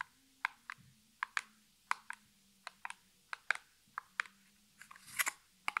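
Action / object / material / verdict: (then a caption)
tap / small printed cardboard box / cardboard / none. Fingertips and natural nails tap on the flat side of a small, hollow printed cardboard nail polish box (Essie packaging) held in one hand. The taps are short, dry clicks with a bright, papery ring, loosely spaced, with a faint low hum underneath. Near the end comes a brief, rougher scratchy burst.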